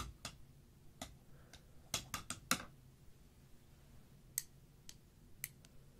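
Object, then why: Plastic marker barrels. Two thin dark sticks tap across a tray of many plastic felt-tip markers laid side by side, making about ten irregular, short, clicky ticks. The taps sound solid rather than hollow, with bright tops over a faint low hum.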